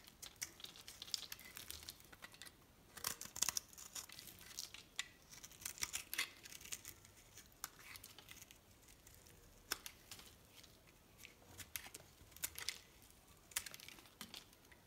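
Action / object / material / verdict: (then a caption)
scrape / solid bar soap cut with a metal knife / soap / none. A solid white bar of soap is held in the hand and carved with a metal knife, slicing off thick curls and chunks. Quiet, crisp scraping and crackling cuts sound in quick irregular bursts, bright and dry with almost no low end.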